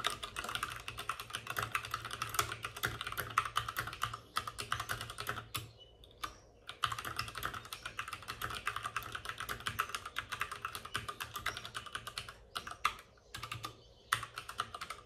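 Both hands type rapidly with short-nailed fingertips on a white full-size plastic mechanical keyboard with plastic keycaps and RGB backlighting, set on a desk with a padded wrist rest. The result is a dense stream of crisp, bright plastic clacks with a low thump under each keystroke, broken by a few brief pauses.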